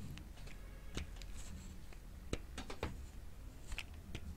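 A solid, hand-sized, light-green bar of dry soap is shaved with a grey-green plastic grater with a metal blade, producing green ribbons of soap. Quiet, irregular scraping strokes give soft, bright rasps and short clicks over a low, steady rumble.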